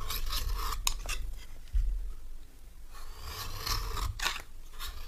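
A solid, dry, orange stamped rectangular bar of soap is held in the hand and scraped with a metal knife. Repeated dry rasping strokes come in bright, broad bursts with sharp clicks over a low rumble, fading briefly before the scraping resumes.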